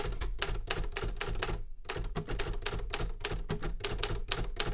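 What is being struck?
Metal manual typewriter keys.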